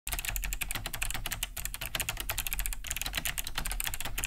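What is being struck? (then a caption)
Plastic mechanical keyboard. Both hands type fast with their fingertips on a large beige Cherry G80-3000 mechanical keyboard fitted with Kailh BOX White switches, with a hollow plastic case and thick plastic keycaps, resting on a wooden desk. A steady, dense stream of crisp, bright clicky key-switch taps rides over a low hollow thud from the casing, each tap dying away almost instantly.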